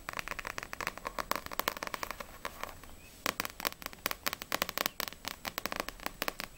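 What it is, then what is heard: Paperback manga book, fingernail tapping. Long nails tap and scratch the glossy paper front cover of a small, solid paperback manga (No.6 vol. 4) held in both hands. Fast, sharp, bright clicks come in dense bursts with brief scratchy textures, pausing for a quieter stretch around three seconds before resuming.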